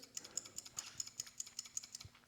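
A new metal torque converter clutch (TCC) solenoid for a GM 200-4R, 700R4 or 200C transmission is shaken casually, producing a quick, steady series of bright, high-pitched clicks and ticks. Its internals rattle freely with just a light shake, which is the normal behavior of a working unit, unlike the failed solenoid.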